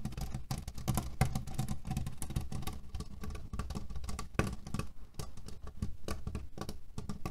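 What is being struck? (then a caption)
Cotton pillow filled with cherry pits. Fingernails scratch quickly across a cotton canvas pillow filled with cherry pits. This makes a dense, continuous run of short, dry, rattling crackles. The sound is mostly low and muffled, with brief bright clicks on top.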